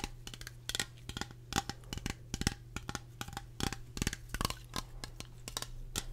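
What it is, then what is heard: Aluminium aerosol can. Fingertips and nails tap and scratch along the body and base of a medium-size cylindrical aluminium aerosol air freshener can with a printed label, held in both hands, its hollow body holding pressurized contents. A quick, uneven series of short, dry taps with bright, clicky edges and brief scratchy strokes dies away almost instantly. A steady low hum runs underneath throughout.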